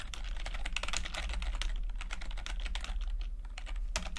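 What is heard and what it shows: Fingertips of both hands type continuously on a full-size plastic computer keyboard with red and blue backlit keys and low-profile keycaps. The result is a rapid, uneven patter of short, dry, bright key taps over a steady low hum.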